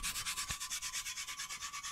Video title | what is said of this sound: Luthiers Question Time Live 59 - The Guitar Building Q&A with Ben Crowe | you can hear that and there's no real changes there